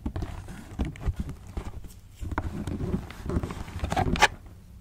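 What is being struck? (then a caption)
Cardboard shoebox. A fingernail taps repeatedly on the end panel of a closed black cardboard shoebox held in the hand. The taps are dull, hollow and low-heavy, each dying away almost instantly, with a brighter, sharper click near the end.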